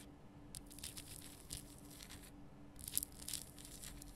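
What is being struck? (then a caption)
Rock salt crystal lamp. Long nails scratch and tap over the rough surface of a large, lit pink Himalayan rock salt lamp, a solid salt crystal, working from both sides. Quiet, dry, crackly scrapes come in short bright bursts with sharper clicks toward the end, over a steady low hum.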